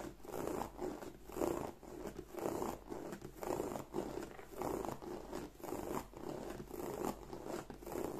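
Long nails scratch along the front panel of a hollow black croc-embossed leather bag. The result is a soft, rhythmic rasping that swells and fades in repeated strokes, centered in the low mids with a dull, papery texture.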